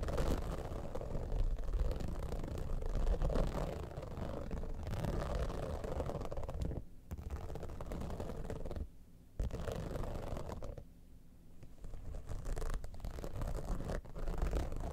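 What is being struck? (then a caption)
Dimpled vinyl cosmetic pouch. Long nails scratch across the top of a holographic vinyl cosmetic bag, a hollow, soft-sided pouch of iridescent dimpled synthetic material. The sound is a continuous, dense, low, rumbling scratch with almost no bright content, broken by brief quiet pauses around 7, 9 and 11 seconds before the scratching resumes.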